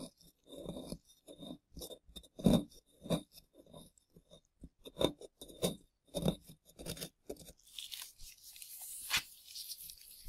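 Gloved hands scrape crumbly plaster from the relief of a solid plaster dinosaur dig block with a small plastic chisel, loosening powder. Irregular, dry, crunchy scrapes come in short bursts, then turn into a brighter, hissy rasp with one sharp scrape before the tool is lifted away at the end.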